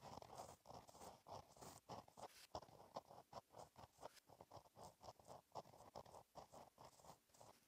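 A gel pen tip scratches across a flat, black, lined paper notebook page while writing cursive. Soft, quiet scratching comes in many short, rapid strokes with a midrange rasp and faint high hiss. Brief pauses fall between the strokes.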